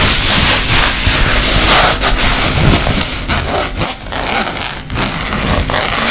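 Long nails rub and scratch along the fabric surface and edges of a tapestry-fabric makeup pouch. The result is a steady, bright, dry scratching hiss with a soft low rumble beneath and brief dips in loudness as the strokes change.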